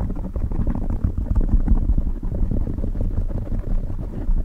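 Fingertips of both hands quickly scratch and tap a soft, hollow black foam windscreen on a silver microphone. The result is a dense, continuous stream of low, muffled rumbling crackles and thumps, with almost no high or bright content. The level stays steady throughout.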